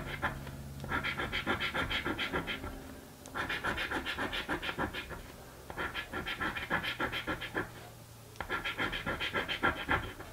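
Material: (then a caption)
Paper. A coin scratches the remaining panels of a blue paper scratch-card lottery ticket, in four bursts of rapid, rhythmic back-and-forth strokes separated by brief quiet pauses. The strokes sound dry and papery with a bright, hissy edge.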